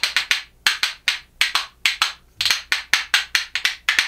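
A pair of reddish, solid makaba birch wood percussion spoons, held in one hand, is knocked together in rhythm against the hand. The clip has 19 bright, dry wooden clacks grouped in quick triplet-like bursts. Each clack is sharp and high-pitched, decays within a fraction of a second, and has almost no low end.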